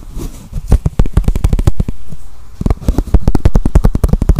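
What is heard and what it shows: A small, clear, hollow plastic container or cup, apparently empty, is held in the hands and tapped and scratched with the fingertips and nails. About 25 quick, dull, low taps come in an irregular rhythm, each dying away almost instantly. A brief softer scratching pause sits in the middle.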